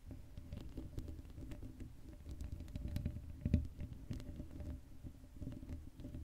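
Long acrylic nails scratch the black metal mesh dome grille of an uncovered Blue Yeti microphone. The result is a dense, low, rumbling scrape with many short clicks and taps, with one sharper, louder scratch partway through.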